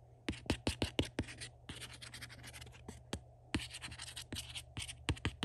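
A fingertip scratches and rubs the flat front panel of a Star Trek: The Next Generation box set, a hollow, glossy printed cardboard box. Sharp, bright clicks alternate with stretches of dry, rustling scratching. A low, steady hum sits underneath throughout.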